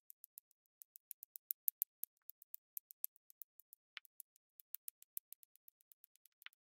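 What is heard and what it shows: A pink plastic drill pen taps and presses small square resin drills in cream, pink and purple onto a densely filled, sticky diamond painting canvas in rapid dabs, clicking against neighbouring drills. About 35 quiet, very short, bright, dry clicks come in an uneven rhythm with no low end, a couple of them slightly lower and duller. Each click dies away almost at once.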